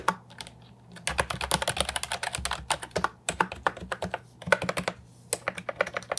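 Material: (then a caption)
Plastic. A compact, hollow plastic Ajazz 308I keyboard with round, typewriter-style retro keycaps is typed on with the fingertips. Dense, fast, clacky keystrokes with a bright, hollow plastic character are heard, coming in quick bursts separated by brief pauses.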